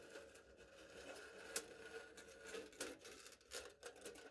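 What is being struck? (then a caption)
Smooth aluminium foil stretched over a hollow cup. A knife blade cuts and scratches the top of smooth aluminium foil stretched flat over a hollow cup. Soft, continuous crinkly scraping is broken by several sharp, bright ticks, with a faint tone around 465 Hz. The sound is quiet, thin and short-ringing, with almost no low end.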